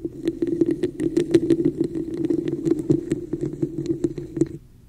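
Long nails tap and scratch the embossed surface of a hollow red textured plastic cup held over the mic. A rapid run of sharp, clicky taps sits over a steady hollow hum that lasts throughout, with bright ticks on each contact. The sound cuts off abruptly near the end, leaving only a faint low hiss.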